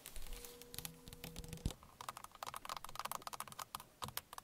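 Long fingernails tap rapidly on the plastic airbag cover at the center of a car steering wheel, making about 23 short, dry clicks with almost no ring. A faint steady hum runs under the first taps and stops after a sharp louder click near the middle, followed by a quicker, brighter run of taps.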